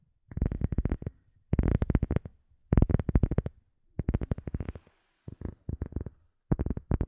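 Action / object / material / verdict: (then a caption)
tap / rubber sheet / rubber / none. A rubber sheet is tapped rapidly with the fingers for ASMR, in several quick bursts separated by short pauses. The taps are dull, low-pitched thuds with almost no ring and no high-frequency brightness.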